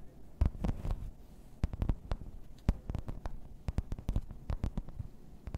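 A thin, solid grey embossed plastic placemat is tapped and scratched across its raised pattern with long red nails. Dull, low, dry taps with almost no ring come in irregular clusters over a soft scratching bed, mostly deep in tone with brief bright clicks.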